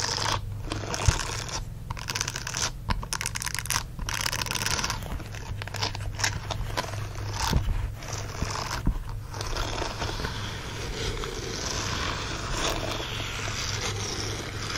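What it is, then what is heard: Silicone dish glove. Fingernails scratch the bristles of a green silicone dish glove lying on a blanket, and fingers flick the glove's silicone fingers. Steady, dense bright scratching runs over a constant low hum, broken by occasional sharp flicks and quick rubbery snaps.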